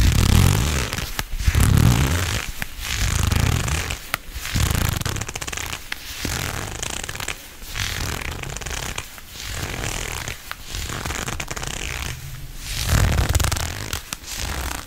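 Shiny black leather gloves worn on both hands rub, squeeze and stretch against each other close up, producing low, rubbing leather creaks and squeaks with bright crinkly friction. The sound comes in repeated swells of rubbing separated by brief quiet gaps, some louder, bass-heavy bursts.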